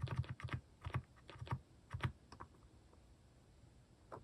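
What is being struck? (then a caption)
Plastic mechanical keyboard keys. A cream plastic mechanical keyboard with plastic cat and paw keycaps is typed on slowly with fingertips. Short, deep, muted keystrokes come in quick clusters with brief pauses between them, then thin out over a quiet stretch before one last press.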